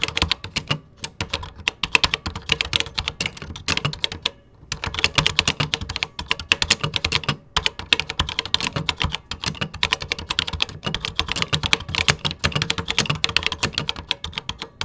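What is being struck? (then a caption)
Plastic computer keyboard keys. Fingertips type continuously on a 1980s vintage beige plastic computer keyboard with a red key. The rapid, bright plastic clicks are short and dry, with brief pauses around 4.5 and 7.5 seconds before the typing resumes.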